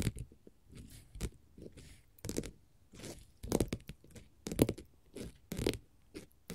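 Long pointed gold metal finger-jewelry nail caps scratch and tap across a flat, solid orange glitter faux leather sheet. Irregular bursts of dry scraping with a bright, hissy edge alternate with soft, low tapping thuds, each stopping almost at once.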